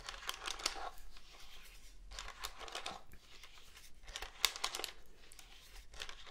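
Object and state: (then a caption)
Plastic cordless phone handset. Fingernails scratch and tap the hollow casing of a black plastic cordless phone handset. Quiet, bright, dry scratching comes in bursts with a few sharper clicks, and the sound dies away almost instantly.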